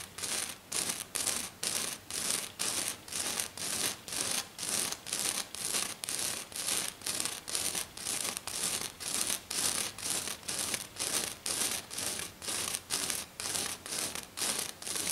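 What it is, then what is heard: Silver glitter sheet scratched. A hand with short, dark-painted fingernails scratches fast across a flat silver glitter sheet lying on a table. It makes a steady run of quick, bright, rasping strokes with almost no low end, each stroke a short burst with brief gaps between.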